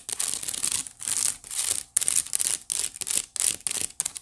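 Long nails scratch across the weave of a hollow, empty white woven wicker basket. Repeated bright, ratcheting, crackly strokes come in quick bursts with short pauses between them, with almost no low end.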